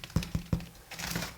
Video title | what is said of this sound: Stottie Cake | You can hear a nice hollow sound when you tap them.